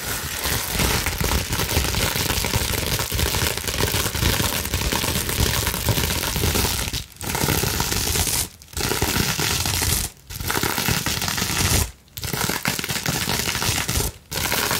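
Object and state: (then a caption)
Plastic bubble wrap sheet. Fast, long-nailed scratching and scrunching over a clear plastic bubble wrap sheet held between both hands. It makes a dense, continuous crinkling and rasping noise that spans deep rumble to bright hiss. From about seven seconds on, the noise is broken by several brief pauses.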